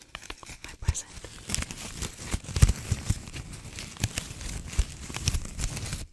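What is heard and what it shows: A small red and white plastic ribbon gift bow is held in both hands close to the microphone and crinkled and scratched with long decorated nails. Dense crackling and crinkling rustles run throughout, with a heavy low rumble of handling beneath sharp bright scratches.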